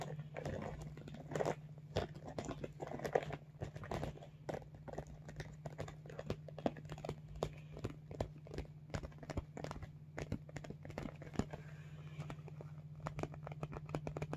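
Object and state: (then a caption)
Vinyl makeup bag. Fingertips tap and scratch along the top edge of a medium blue holographic PVC/vinyl zippered makeup bag, which is soft and hollow. Many quick, dry taps land close together with crinkly scratching between them, over a steady low hum.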